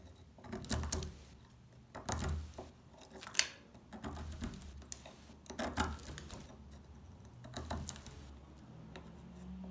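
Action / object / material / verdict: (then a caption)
scrape / household soap bar scraped with a small metal tool / soap / none. A small metal tool scratches and scrapes the top face of a solid, dry brown household laundry soap bar held in the hands, leaving a pile of curled flakes on it. Bursts of dry, bright scraping and crisp crackling come in uneven strokes over a low background hum, each ending quickly.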